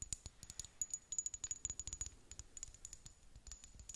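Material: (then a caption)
Glass. Long nails tap rapidly on a small amber glass serum bottle with a dropper cap, filled with liquid. The result is a quick run of sharp, bright clicks that die away almost instantly, with a faint steady high glassy tone and very little low end.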